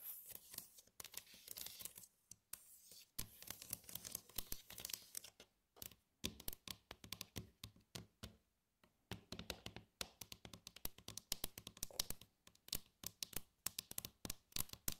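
Long acrylic nails tap across the compartments and dividers of an empty, glossy red plastic divided tray. Quick, crisp clicks and ticks come in dense, irregular bursts with a bright edge and a light low thump. The bursts are separated by brief pauses, and each tap dies away almost instantly.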